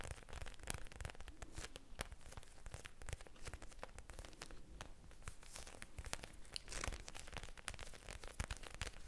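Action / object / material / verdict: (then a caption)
tap / plastic eye mask filled with gel beads / plastic / none. A small clear plastic eye mask filled with blue gel beads is held in the hand close to the mic and tapped and squished with long painted fingernails. The result is a steady stream of soft, crinkly clicks and squelchy crackles with quick taps scattered throughout.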